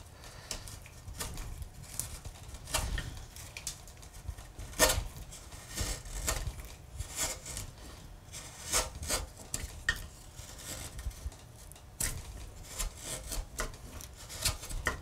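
A small steel gouge held in the fingers scrapes and pares along a carved curve in a large, solid, pale limewood relief panel. Short, dry scraping strokes come one after another, each a brief bright rasp with a soft low body underneath. The cuts are quick and crisp and leave almost no ring.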